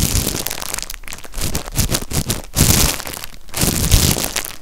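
Fingertips grip, rub and crinkle the clear plastic wrapper around a stack of empty, ribbed, disposable white cups held close. The sound is a dense, irregular crackling and rustling with bright crinkles over soft low thumps, swelling in louder bursts and easing back without a steady rhythm.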